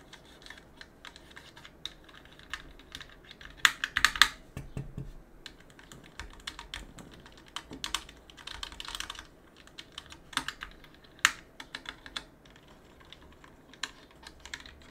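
A gloved hand rubs and scrapes a cotton swab around the keys and switches of a mechanical keyboard with plastic keycaps on an aluminum plate. Quiet, irregular bright scratches and short plastic clicks tick along steadily, with a few louder clacks standing out.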